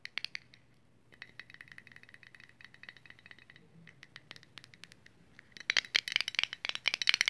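Long nails tap and scratch the lid, side and barcode-labelled bottom of a small round red metal Vaseline Lip Therapy tin. Quick, dry, bright clicks and light scrapes with almost no ring sit over a faint steady hum. The tapping turns louder and denser in the last couple of seconds.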